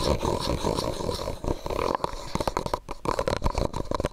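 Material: Plastic.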